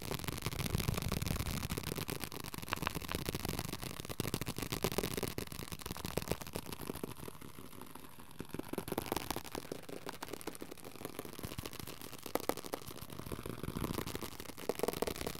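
A small pocket paperback book with a paper/card cover, solid and held in both hands, is tapped fast on its cover and edges with the fingertips. The result is a dense, steady stream of quick, dry, papery taps with a soft low thud and a noisy hiss, each tap dying away almost instantly.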